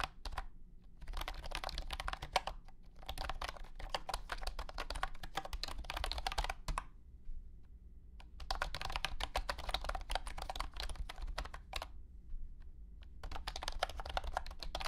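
Fingertips type on a compact white and blue plastic wireless keyboard with round hexagonal honeycomb keycaps and a hollow body. Rapid, light, hollow plastic clicks come in bursts, broken by short pauses near 7 to 8 seconds and 12 to 13 seconds. A steady low hum sits underneath throughout.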